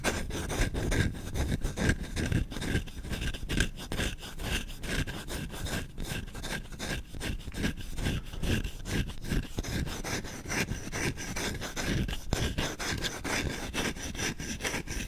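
Fingertips with short nails rapidly scratch and rub the solid wooden bowl of a spoon held in one hand. Fast, slightly uneven strokes make a dry, rasping scrape with a low, body-heavy rumble and a thin bright hiss. It continues steadily for about fifteen seconds.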